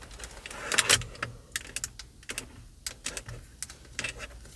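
Long purple acrylic nails on both hands tap and scratch a car's large, hollow plastic and leather-covered steering wheel airbag cover on the center hub with the Cadillac emblem, and on the nearby spoke buttons. The result is a quick run of sharp, bright, dry clicks with almost no ring, mixed with soft scratching between the taps.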